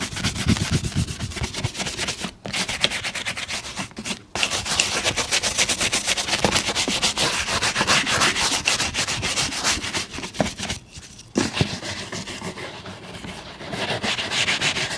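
A brown leather boot is brushed rapidly with a bristle shoe brush, producing a dense, bright, scratchy rustle of quick back-and-forth strokes. The brushing runs almost continuously, with a few short pauses around 2.4, 4.2 and 11 seconds.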